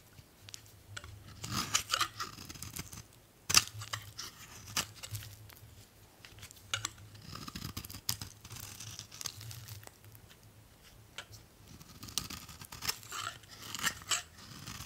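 An old solid beige oval bar of "Spring" soap is held in the hand and scraped with a metal utility blade in downward strokes, peeling off shavings. Each stroke gives a bright, dry, crisp scraping and rasping sound, with short sharp clicks between passes over a faint low hum.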